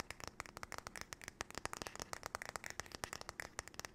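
Long nails tap and scratch fast across the back and handle of a flat, paddle-shaped solid wooden hairbrush held sideways. The result is a quiet, dense run of many sharp, dry clicks with bright edges, each dying away almost at once, with faint scratching in between.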